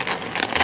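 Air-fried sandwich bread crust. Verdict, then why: Crispy. The crust of a stuffed roast beef and cheese sandwich, just out of the air fryer, is pressed to make it crackle. About four dry, bright crunches are heard in quick succession, showing how crispy the air-fried bread got.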